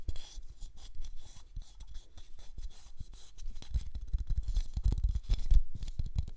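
A small, flat, yellow cellulose sponge, porous and soft, is held in both hands close to the mic and squeezed and scratched with the fingertips. The result is a dense run of quick, crackly scratches and soft rubbing, with low, muffled thumps from the squeezing and a thin, bright hiss. The sound grows a little louder and busier toward the end.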